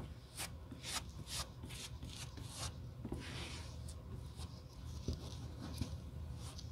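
A solid black rubber sole blank is held in gloved hands while a metal rod is rubbed across its glued surface, then gloved fingertips press along the edge. Repeated short, bright scraping strokes sit over a low, steady rumble, with soft thuds from the pressing near the end.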